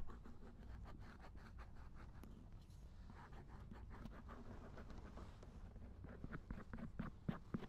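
A binaural dummy head microphone lies in a lap while its silicone ear is scraped with a thin wooden or bamboo ear pick. Close, soft scratching and rubbing strokes repeat unevenly, with a low rumble underneath. Brief brighter scrapes pick up toward the end.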